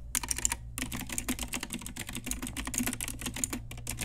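Continuous typing with long nails and fingertips on an Ajazz pink retro typewriter-style mechanical keyboard with round plastic keycaps. Rapid, bright plastic clicks and clacks follow one another, with a brief pause near the start, over a faint steady low hum.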